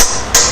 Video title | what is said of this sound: In Car Extension Housing Bushing Removal Tool Trailshaft Tailhousing Bushing Remove DIY How to | different sound when this drivers there hit the extension housing, so you know it's all the way up